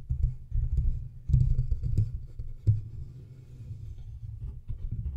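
Fingertips and nails of both hands tap and scratch the sides and front of a large studio microphone's silver metal body, a hollow cylindrical metal casing with knobs. The result is a close, boomy stream of low thumps and rubbing scrapes, almost all deep bass around 130 Hz, with a few sharp clicks standing out. Each hit dies away quickly, with no bright ring.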